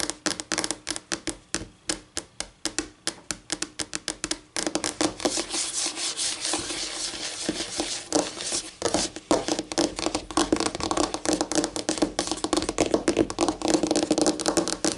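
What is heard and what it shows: Acrylic nails on both hands scratch and rub along a flat, solid white laminate tabletop. Quick, separate clicking scratches in the first few seconds give way to a denser, continuous bright scraping. The scraping later returns to rapid, uneven ticking strokes.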